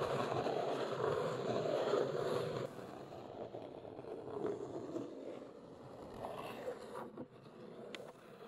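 Long nails scratch and tap the top of a large, flat, hollow brown Neewer cardboard box. A dense, papery scratching rasp centered in the midrange fills the first few seconds, then drops to a softer scratching broken by occasional light, hollow taps.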